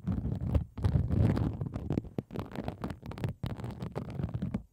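A sheet of pink plastic bubble wrap is laid over the microphone while one hand scratches and taps the bubbles with long acrylic nails. The result is a dense, muffled, low rumbling crackle of quick scratches and soft taps, broken by brief near-silent pauses.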